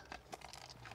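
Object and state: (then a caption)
Hard plastic car door storage bin. Taps on the hard plastic rear door storage bin of an Audi Q8 e-tron 55 quattro (2023) give a few short, dry knocks with a hollow, bang-like tone around 740 Hz. Each knock dies away almost instantly. The bin is judged as plain hard plastic that could have been padded or covered.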